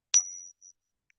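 A circulated silver one peso coin is pinged once, giving a sharp strike followed by a bright, high, pure ringing tone that sustains for about half a second before fading. A brief faint return of the ring follows, then a tiny tick. The coin pings differently from most coins and resonates for a while.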